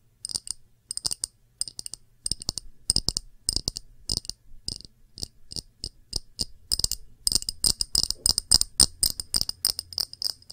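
Long nails tap quickly on a small, empty, round clear glass dish with bead feet, making bright, clicky ticks. The taps come in short bursts of varying loudness. Each one dies away almost at once with a thin, high glassy tone.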